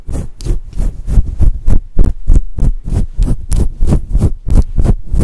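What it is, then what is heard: Faux fur microphone windscreen being scratched. Long acrylic nails scratch into a fluffy faux fur microphone windscreen with both hands, making about 17 soft, muffled scratching bursts at a steady, slightly uneven pace. The sound is deep and rumbly, with brief airy rustles at the top and no ringing after each stroke.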